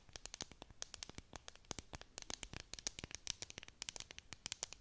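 Long nails scratch and tap a clear plastic tumbler with a bead-decorated dome lid close to the mic. The result is a quiet, rapid series of sharp, bright clicks and scratchy ticks that die away almost instantly, with very little low end.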